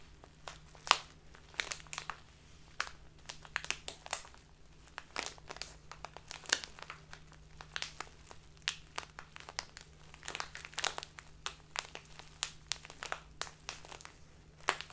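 Fingertips with long dark-painted nails squeeze and crinkle a small clear plastic bag with a green-white label, full of loose dried tea. Quiet, dense bursts of sharp, bright crackling come in irregular clusters, each snapping off almost instantly. A faint steady low hum sits underneath throughout.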